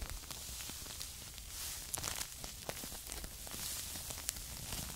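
Two small paper filter tea bags with strings, full of tea, are held by the edges close to the microphone and rubbed and scratched with long nails. Soft, bright crinkling and scratching rustles continue steadily, with sharp little ticks and crackles popping out along the way.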